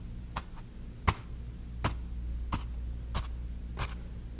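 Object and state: Cotton canvas panel.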